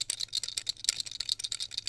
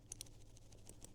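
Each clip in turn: First: A fast run of tiny high plastic clicks, dry and instantly damped: a loose buckle rattling as it is shaken. Second: A shaken plastic buckle gives only a few faint, high ticks with no rattle, so it sits tight.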